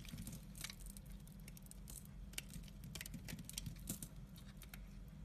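A utility knife shaves flakes from the edge of a solid orange and white striped bar soap held in the hand. Quiet, bright, crisp scraping strokes come in short bursts over a steady low hum.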